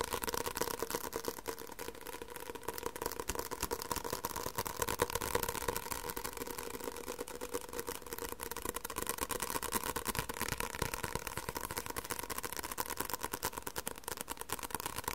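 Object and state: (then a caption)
Paperback book. A medium white softcover paperback with a paper cover and a solid block of pages is held up by hand and tapped on the cover with the fingertips and short nails. The result is a rapid, dense, uneven stream of dry, papery taps with no ring, centered in the mid-range, holding steady for the whole clip.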